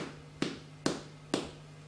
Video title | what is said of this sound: Irish Brown Soda Bread - With Treacle | flick it with your finger, and you should hear that hollowness inside. There we know it's almost completely cooked.